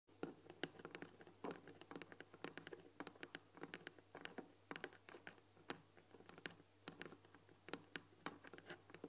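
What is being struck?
Painted wooden tea box with glass lid.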